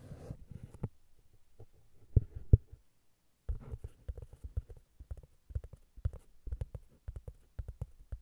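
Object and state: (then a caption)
Cork round pad. A flat, solid, round cork disc is held and then set on a recorder while long nails tap and scratch it. Soft scratching rustles open the clip, followed by dull, low thumps with almost no ring. After a brief silence, a quick, irregular run of deep, muffled taps continues to the end.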